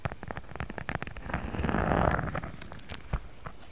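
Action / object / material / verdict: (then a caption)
scrape / thin embossed faux leather sheet / faux leather / none. Fingertips of both hands scratch and tap a thin, pink, embossed faux leather sheet lying flat. Quick, irregular soft taps mix with a dry, scratchy rustle that swells into a denser scrape mid-clip and then thins back to scattered, dull, low taps.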